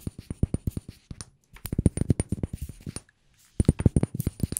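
Fingers tap rapidly on a glass room spray bottle, giving about 28 short, dry, clinking taps in three bursts separated by brief pauses. The taps are low and solid with almost no ring, and a faint steady high tone runs underneath. The bottle sounds quite hard, and the bare glass part sounds different from the labelled part.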